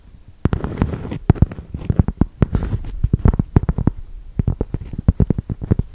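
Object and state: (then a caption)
Cork block, solid. Long nails tap and scratch across the coarse, granular face of a solid cork yoga block. Quick, dull, low-pitched taps with almost no ring are broken up by short, bright scratching bursts.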